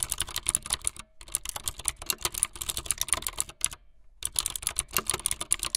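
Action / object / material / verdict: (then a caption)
tap / plastic mechanical keyboard / plastic / none. Fingertips with long light-blue nails type fast on a full-size plastic mechanical keyboard with white, blue and yellow plastic keycaps and a blue backlit frame. Rapid, bright, clacky keystrokes come in dense bursts, with short pauses around 1 second and 4 seconds. Each click is sharp and dies away almost instantly.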